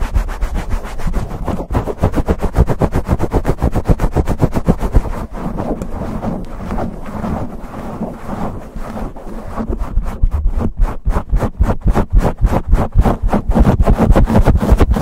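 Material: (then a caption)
Foam. Fingertips and nails scratch fast and aggressively across a black foam windscreen on a silver condenser microphone. The result is a rapid, steady run of dry, boomy rasps heavy in the low end, about three to four strokes per second. The scratching eases slightly in the middle before building back up to full intensity.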